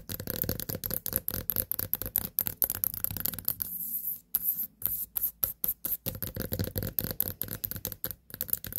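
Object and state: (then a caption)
Small white pumpkin. Long nails tap near the top of a small white pumpkin with a long stem standing on a table. A quick, irregular run of dozens of short, dry taps gives dull low knocks with bright clicky edges and almost no ring. There's a brief softer stretch in the middle before the tapping picks up again.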